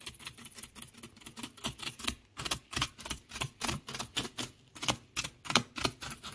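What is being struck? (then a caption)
Beach gravel and shell fragments. Fingers scratch and rake through loose beach gravel of small pebbles and shell fragments, making a rapid, uneven series of short, bright crunching rasps. Each stroke is crisp and dry with almost no ring, and the burst repeats irregularly throughout.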